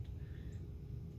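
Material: Nothing is struck.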